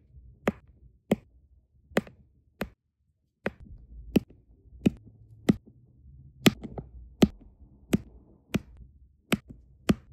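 A metal-tipped applicator pen taps small solid brown resin diamond painting drills down onto an adhesive canvas. Fourteen short, sharp, dry clicks come at an uneven, unhurried pace, each dying away almost at once. A faint low rumble sits underneath.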